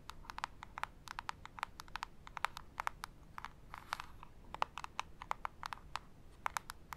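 A small, hollow printed cardboard jewelry gift box with a white label is held in both hands and tapped with long acrylic nail tips. The result is a rapid, irregular stream of many sharp, dry clicks with a hollow tone around 900 Hz, each cutting off almost instantly over a faint background hiss.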